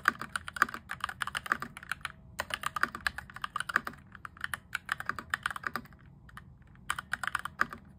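Fingertips type rapidly on a cheap mechanical keyboard modded to sound thockier rather than clicky, an RGB-backlit board with cream and grey plastic keycaps and an orange plastic frame. Quick bursts of short, crisp plastic clacks centered in the midrange, with a bright top, come with brief pauses around the two- and six-second marks.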